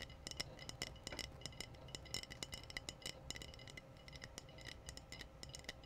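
Long painted nails tap the body of a clear, hollow glass wine bottle with a foil capsule. Dozens of quick, light clicks ring bright and high, each dying away almost at once, over a steady low hum.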